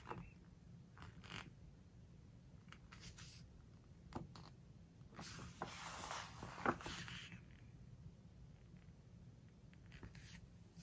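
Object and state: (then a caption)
Glossy paper book pages being handled. Fingertips squeeze and rub a glossy paper page of a large open hardcover book, then turn it. Soft, intermittent crinkly rubs and swishes give way to a longer, brighter sweep of the page turning, with a sharp crackle near its peak. A low, steady hum sits underneath throughout.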